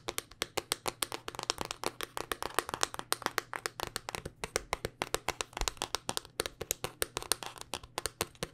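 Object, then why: Smartphone in rugged hard-plastic case. A handheld smartphone in a black, solid, rugged hard-plastic case is tapped rapidly with long dark-painted nails. The clicks are short, sharp and bright, and they fall in a steady, quick run of separate hits, with almost no ring after each one.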